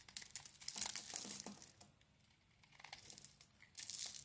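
A knife blade scrapes and shaves a solid oval green soap bar with a dark coating, held in the palm. Dense, bright, crinkly scraping fills the first two seconds, then fades to a quiet hiss before another short burst of shaving near the end.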